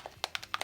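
A small plastic bottle of paint with a small metal ball from the hardware store inside is shaken to mix paint that has gone a little dry. The ball rattles against the bottle in quick, sharp, bright clicks that die away almost instantly.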